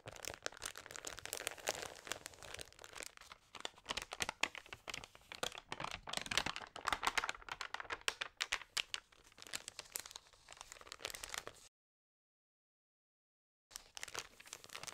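An open magazine with thin, lightly water-sprayed crinkly pages is scratched by long nails and rubbed by fingers, and a page is turned. The result is dense, bright crinkling and crackling with many short, dry ticks. The sound cuts to silence for about two seconds before the crinkling resumes.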